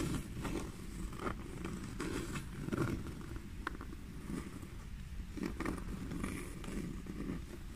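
Long fingernails scratch and tap the smooth-grained black leather side of a small black pebbled leather handbag. The result is a steady, low, dense scratching rustle with soft taps scattered throughout.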